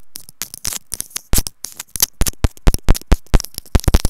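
A white plastic earphone inline remote and mic on its cable is scratched with long nails. The result is a rapid, irregular run of sharp, dry scratching taps and clicks right at the mic, each with a deep thump and a bright crackle. The bursts are separated by short quiet gaps.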